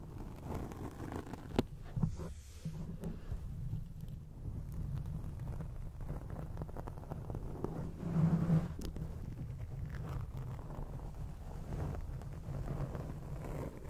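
Long acrylic nails scratch a grey foam microphone windscreen, producing a steady, muffled, rumbling scrape that sits almost entirely in the low end. Brief louder rasps stand out near 1.6 seconds and again around 8 to 9 seconds before the scratching settles back to an even, dull texture.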